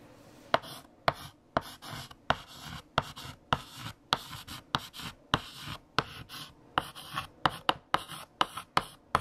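A hand writes on a large flat black chalkboard with a mint green chalk stick. Sharp chalk taps alternate with short scratching strokes in a steady rhythm, about 18 distinct hits over the clip. Each tap is crisp and dies away almost instantly, and the scratches carry a bright, high hiss.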